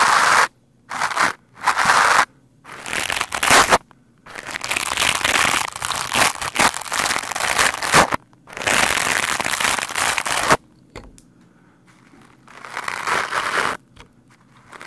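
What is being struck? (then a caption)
Foam microphone windscreen scrubbed with a stiff-bristled brush. Stiff bristles of a lime-green scrub brush are brushed fast and hard across a black foam microphone windscreen. The result is bursts of dry, bright scratching and crackling, some short and some sustained for several seconds, separated by near-silent gaps with an irregular rhythm.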